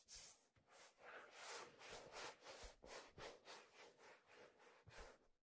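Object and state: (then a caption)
Leather fedora, rubbed. A hand rubs and strokes the leather crown and brim of a black leather fedora held by the brim, with a hollow crown. The result is a steady series of soft, breathy swishing strokes, about three per second and slightly uneven, with a bright, airy hiss and occasional faint low thumps.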